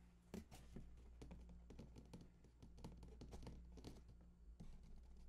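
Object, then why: Large cardboard console box. Fingertips tap and scratch along the bottom edge and seam of a large, hollow cardboard PS4 console box lying on its side. Quick, soft, dry taps mix with rough scratching and crinkly rustles, all quiet and sitting low over a steady low hum.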